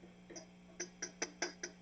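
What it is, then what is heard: Microphonic (bad) vacuum tube. A pencil taps the glass vacuum tubes of an Egnater Rebel 30 MKII guitar amplifier, heard through the amp to check for ringing. Sharp, bright pings repeat at a steady pace over a constant low hum, each dying away quickly. One tube is judged definitely bad, meaning it is microphonic.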